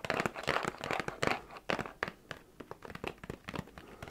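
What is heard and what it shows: A small, hollow printed cardboard New Year gift box with a red plastic-looking handle, apparently holding sweets, is held in both hands and tapped and scratched on its sides with fingertips and nails. Dense, crinkly scratching in the first half gives way to a run of quick, dry, papery taps that stop almost instantly with no ring.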